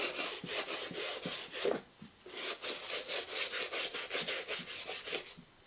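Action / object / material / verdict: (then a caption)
scrape / leather high-top sneaker scrubbed with a toothbrush / leather / none. A toothbrush held in the fingers scrubs the foamy, soapy upper of a black and green leather high-top sneaker, hollow and empty, resting on a wooden chair seat. Quick back-and-forth strokes make a bright, hissy scratching rasp with a soft low thump under each stroke. The scrubbing pauses briefly just before two seconds, then resumes in a steady rhythm and fades out at the end.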